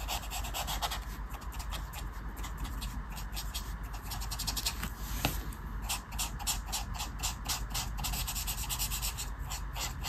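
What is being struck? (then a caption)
Paper colouring page with felt-tip marker. A felt-tip marker is scratched and rubbed over a flat paper colouring book page resting on a table while a mandala is coloured in. Continuous scratchy, rubbing strokes come in quick repeated bursts with bright papery hiss over a low, steady rumble, plus one sharper tick midway through.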